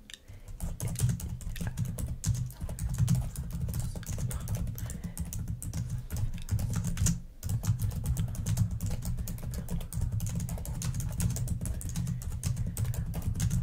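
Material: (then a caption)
Plastic. Long nails type rapidly on the plastic keys of a black laptop, producing a dense stream of short, clicky taps. Most of the energy sits in a low thump, with faint bright clicks on top, and there is a brief pause just past seven seconds.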